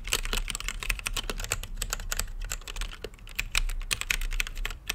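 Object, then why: Mechanical keyboard, plastic keycaps on an acrylic case. Fingertips type continuously on a plastic mechanical keyboard with plastic keycaps in a translucent acrylic case. A rapid, uneven stream of bright, sharp clacks follows, each dying away almost at once, over a steady low hum.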